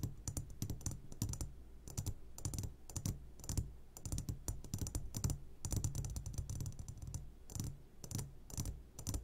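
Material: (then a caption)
Glass. Fingertips tap quickly and irregularly on the sides of an upside-down clear glass jar full of hard candies. Each tap gives a short, dull low knock with a bright clicky edge that dies away fast. The taps come in dense bursts with brief pauses between them.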